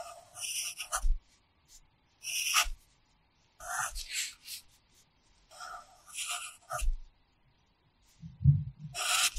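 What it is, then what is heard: Pencil writing on notebook paper. A red wooden pencil held in the fingers scratches and rubs across an open paper practice notebook lying flat on a pad, in short writing strokes. Bursts of bright, dry scratching come one after another with brief silent pauses between them. Soft low thumps from the paper and pad sound under the strokes.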